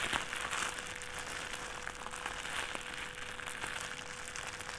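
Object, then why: Thin plastic trash bag. A crumpled thin white plastic trash bag is squeezed, opened and crinkled in the hands. It makes a steady, dense, bright crinkling with scattered sharp crackles, over a faint constant mid-pitched tone throughout.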